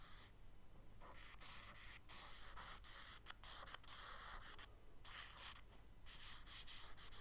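Long sweeping strokes of a charcoal stick held flat drag across a tan kraft paper sketchbook page, and the paper is rubbed and smudged with the side of the hand. The sound is a soft, dry, bright scratching hiss, steady and close, broken by brief pauses between strokes.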